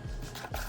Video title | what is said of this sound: Orange 🍊 & Blue nails | tap on the nails you can hear the difference between when they're dry and when they're still wet